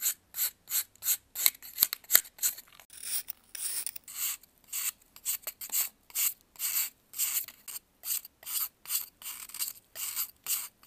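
A metal knife scrapes powdery shavings off a solid white pressed baking soda block held in blue gloves. About 26 separate dry, bright, rasping strokes come in an uneven rhythm, with a few sharp clicks early on. There is almost no low end, and each scrape cuts off quickly.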